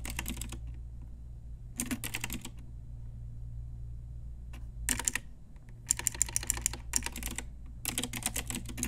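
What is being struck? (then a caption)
Plastic mechanical keyboard with round keycaps. A pink Ajazz retro typewriter-style plastic mechanical keyboard with round plastic keycaps is typed on with long nails and fingertips. Bursts of bright, crisp clicks come and go between short pauses, over a steady low hum.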